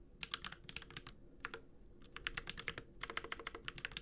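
A Space65 Cybervoyager 65% mechanical keyboard with an aluminum case, plastic keycaps and Holy Panda switches is typed on with the fingertips of both hands. About 24 short, crisp, bright key taps with no ring come in quick bursts, with a brief pause in the middle before the typing picks up again.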